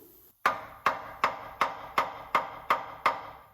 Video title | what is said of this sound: 69 Ford F100 the Wrong Way to Remove the Water Pump! Part 7 | That sucker sounds solid as a rock, don't it?